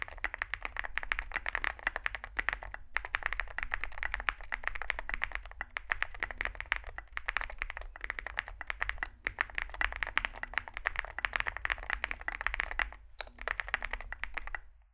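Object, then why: Mechanical keyboard with plastic keycaps. Continuous fingertip typing on a small 65% mechanical keyboard with a dark case and white and grey SA plastic keycaps. Dense, rapid clacks carry a bright midrange around 2 kHz, each dying almost instantly, with brief pauses between bursts of keystrokes. A faint low hum runs underneath.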